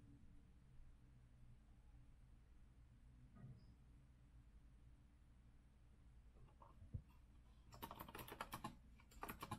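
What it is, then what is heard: Mechanical keyboard typing. Fingertips type on a rose-gold Azio retro compact mechanical keyboard with a metal frame and round backlit plastic keycaps, resting on a wooden desk. After a steady low hum with a few scattered soft clicks, two bursts of sharp, bright key clacks arrive near the end.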